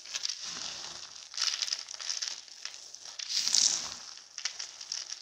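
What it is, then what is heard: Starch-coated soap flakes being crushed. Bare hands scoop, squeeze and crumble a large loose heap of small, broken, pastel-coloured soap shards dusted with starch powder on a white table. A dense, bright crunching and crackling fills the clip, swelling louder as the flakes are squeezed and dropping to a softer rustle in between.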